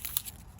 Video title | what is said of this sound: SEPT GARDEN TOUR 2022 Finally a new video :) | listen to how crispy it is